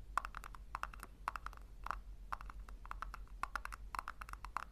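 Long nails scratch and tap the sides and base of a small hollow pink plastic tub, making a rapid run of short, dry clicks with a hollow tone around 1 kHz and quick bright edges. Each sound stops almost at once, over a steady low hum.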